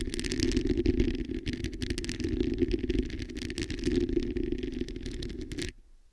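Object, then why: Metal mesh microphone grille. Long acrylic nails scratch all over the hollow metal mesh head of a black microphone, making a dense, continuous scratchy rattle with a low, boomy rumble and a steady mid-pitched tone. The scraping holds for about five and a half seconds, then cuts off sharply into near silence.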